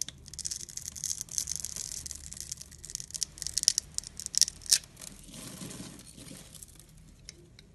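A blade scores a grid into a palm-sized solid clear glycerin soap bar held in the hand, then scrapes off the small cubes. Dense, bright, crisp scratching and crackling builds into a few sharp, louder snaps near the middle. It then gives way to a softer, duller scraping that fades toward the end.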